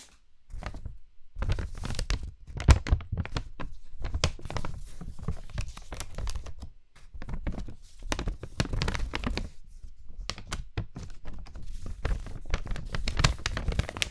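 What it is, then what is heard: Paper sheet being torn. A large, thin sheet of plain white printer-type paper is held up in both hands and handled, then torn with the fingers. It gives quick bursts of ripping and crinkling with brief bright edges over dull low rustling thumps, and short pauses between tears.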